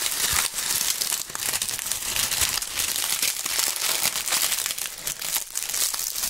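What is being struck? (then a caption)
Autumn leaves. Dry brown autumn leaves are held in gloved fingers close to the microphones and crushed and crumpled. The result is a dense, continuous, bright crackling and crunching with almost no low end and no clear pauses between the crackles.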